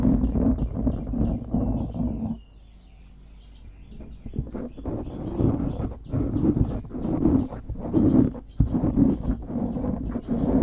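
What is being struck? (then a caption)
Foam microphone windscreen. Fingers squeeze and scratch a dark grey foam windscreen on a microphone, making dense, muffled low rumbling and crackling rubs with a steady hum underneath. A quieter stretch from about 2.4 to 4.5 seconds gives way to repeated bursts of scratching through the end.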